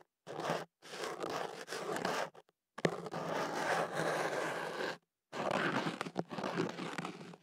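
A thin white ear pick is pushed into a hollow white kenaf paper tube wrapped around a microphone and scratched against the inside of the paper. Dry, papery crunching and scraping comes in several long bursts separated by brief silences, with a low hollow body to the rustle.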